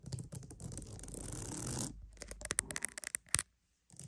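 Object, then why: Wooden mat. A wooden mat is scratched and tapped for ASMR: about two seconds of steady, rustling scratching, then a run of quick, crisp, bright taps that die instantly. After a brief silence, faint scratching returns at the very end.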